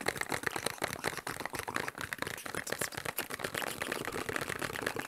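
Fingertips and nails tap fast on a small, hollow, printed cardboard medicine box with a shield-and-cross logo, held up in the air. The result is a dense, continuous patter of dry, papery clicks and ticks that are mostly mid and bright, with almost no low end and no ring after each tap.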